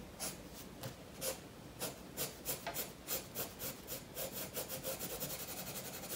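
A blue graphite pencil shades and strokes a koi fish drawing on a spiral-bound paper sketchbook lying flat on a wooden table, while the other hand holds the book steady. The pencil rubbing and scratching gives a quiet run of bright, papery strokes that come faster and closer together toward the end.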